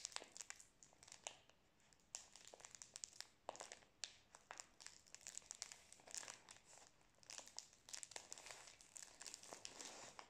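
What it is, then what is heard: Plastic-wrapped biscuit roll. A full Prince biscuit roll in crinkly plastic film is held in both hands near the face and turned while fingertips and nails squeeze and rub the wrapper. The result is a dense, quiet run of sharp, bright crinkles and crackles with almost no low end.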